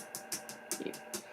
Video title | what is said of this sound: Aliexpress doll BJD 60 cm Doll (Part 2). Is this one better? #Aliexpressdoll | there is no hollow sound there is no echo